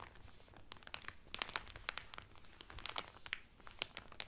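Fingernails and fingertips scratch and crinkle cellophane film wrapped around a folded Carnival Cruise cotton towel. Quiet, bright, dry crackles and scratchy rustling come in a rapid, uneven series of sharp clicks, with almost no low end.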